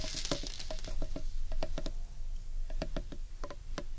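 Fingers and nails tap rapidly on the outer side of a large, hollow carved wooden bowl held against the body. The quick, dry knocks each carry a brief hollow tone over a steady low rumble, and each dies away almost at once.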